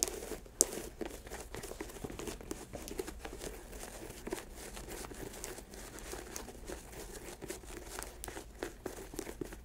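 Long acrylic nails tap and scratch the laces and upper of an empty white leather Nike Air sneaker resting on a lap. Quiet, steady crinkly scratching with a bright, papery texture runs throughout. It is broken by sparse, sharper taps that stop instantly without ringing.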